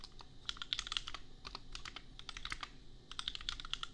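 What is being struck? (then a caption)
Plastic mechanical keyboard keys. Fingertips type on a compact $250 custom mechanical keyboard with Gateron Milky Yellow switches and red and pink plastic keycaps. Bright, sharp plastic clicks come in quick flurries, with brief lulls around 1.3 and 3 seconds. Each keystroke dies away almost instantly over a faint low hum.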